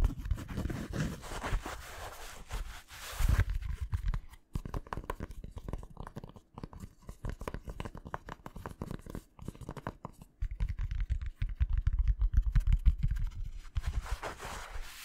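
A black fabric Nike baseball cap, hollow and empty, is held up close and scratched and rubbed with the fingertips. The result is a dense run of fast, irregular scratching taps with soft fabric rustle. The sound is dominated by low, muffled thumps, with brighter swishing at the start and end.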